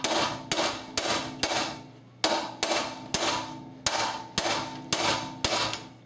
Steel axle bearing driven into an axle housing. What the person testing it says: a difference in the tapping noise once it's solidly in place